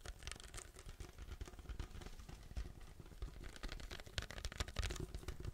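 A large, hollow white paper drink cup with a plastic lid and straw is held, tilted, tapped and scratched with fingertips. The result is a dense stream of quick, dull, low thumps mixed with dry, scratchy rustling and brief bright clicks, each dying away almost at once.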